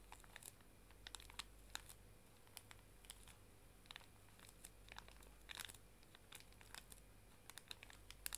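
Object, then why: Pocket tissue pack in thin plastic film. Long dark nails tap and scratch across a small, full pink plastic-film pocket tissue pack. This makes quiet, bright crinkling ticks and short scratchy bursts scattered over a steady low hum.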